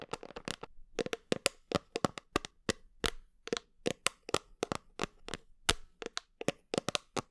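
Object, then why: Plastic supplement tub. Long nails tap and scratch the white lid and label of a medium red plastic creatine supplement tub, likely full, held against the body. About thirty sharp, dry clicks come in an uneven run, each bright and cut off almost at once, with a hollow plastic tone near 535 Hz and faint scratching between the taps.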